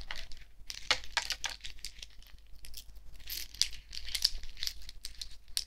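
A necklace of many small, thin, shiny silver metal discs is held in the palm while fingertips and nails handle and shake it. The discs clink and rattle together in quick, bright, crinkly bursts that die away almost instantly, over a faint steady low hum.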